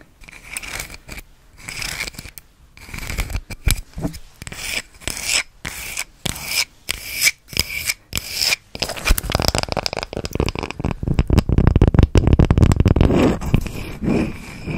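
Long red acrylic nails scratch and rub across the face of a solid, palm-sized round natural wood slice coaster with its bark rim, held close to the mic. For the first nine seconds, short dry scratching strokes come in quick bursts separated by brief silences. After that, the sound turns into a louder, continuous, dense rubbing rasp that carries a low woody rumble.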